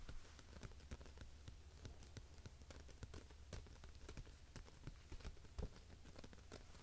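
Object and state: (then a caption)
Paper magazine cover. Fingertips and nails tap and rub the front cover of a glossy Monocle magazine lying closed on a carpet, a thin solid stack of paper. Rapid, irregular soft taps with short, dull thumps and faint bright ticks patter across the cover, sounding like rain.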